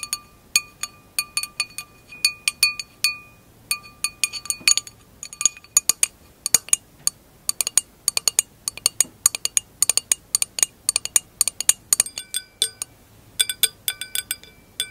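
Long acrylic nails tap the bowl and round glass foot of an empty glass wine glass held by hand. The result is a quick, irregular series of short, bright clinks with sharp attacks and brief high ringing tones that fade almost instantly.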